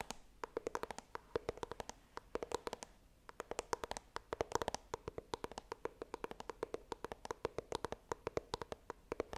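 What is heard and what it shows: Long dark green nails tap and scratch the glossy front face of a small white printed cardboard iPhone box, held upright close to the microphone. A quiet, rapid stream of dozens of crisp, dry clicks with a hollow midrange tone, separated by soft scratchy brushing. There is a brief lull near the three-second mark.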